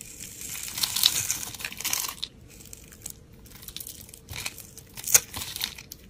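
A steel utility blade slices scored layers and cubes off a solid, hand-sized brown rectangular bar of soap held in the hand. A dense burst of bright, crisp scraping and crumbly crunching fills the first two seconds, then quieter, scattered cuts and flakes follow. A sharp crackling snap comes near the five-second mark.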